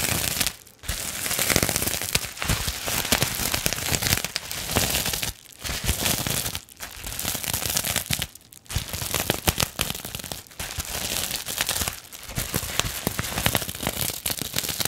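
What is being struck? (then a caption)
Plastic bubble wrap sheet. Long nails scratch and crinkle the surface of a clear plastic bubble wrap pouch. The result is a dense, bright crackling and rustling, broken by a few brief pauses.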